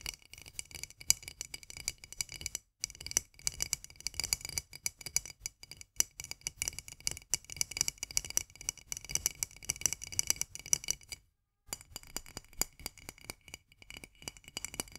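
Long nails tap rapidly on a full glass jar of mandarin marmalade with a metal lid and a paper label, striking both the glass and the label. The result is a dense stream of quick, dry, bright clicks with almost no ring or low end, broken by brief pauses near 2.7 and 11.5 seconds.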